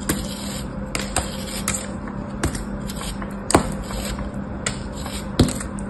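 A metal blade slices and scrapes through a small, solid, molded block of beige kinetic sand held in fingers with orange nails. Soft, gritty scraping is broken by sharp, bright crunching cuts at irregular intervals over a low, steady hum.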